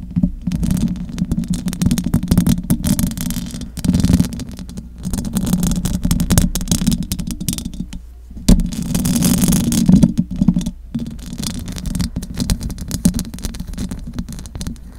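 Long acrylic nails scratch the metal mesh grille of a large silver condenser microphone with both hands. The result is a dense, continuous scratching rumble, heavy in the lows with a steady hum-like band near 176 Hz, with only faint high hiss. The scratching briefly drops out around the 8- and 11-second marks.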